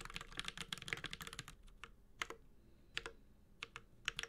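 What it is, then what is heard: Mechanical keyboard being typed on. A Space65 Cybervoyager 65% mechanical keyboard with an aluminum case, Holy Panda switches and plastic keycaps is typed on with the fingertips of both hands. A quick burst of bright, clacky key taps fills the first second and a half, then slows to a few sharper, scattered taps. Each tap is short and dry with almost no ring.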